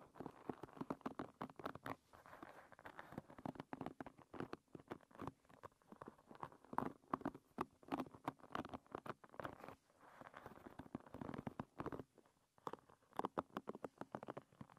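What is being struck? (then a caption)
Hairbrush with wooden pins. Long red nails scratch and flick across the many thin wooden pins of a hairbrush. The result is a quiet, rapid patter of dry clicks and ticks over a soft scratching texture, centered in the midrange and dying away almost instantly.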